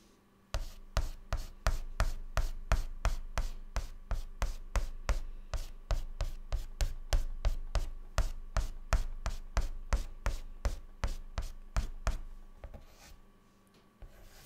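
A white chalk stick held in the fingertips makes quick, short hair strokes on a flat, dark, solid chalkboard. About 34 rapid scratching taps land in a steady rhythm of roughly three per second, each one a short, dull thump with a brief scrape. They stop shortly before the end, leaving a faint rustle.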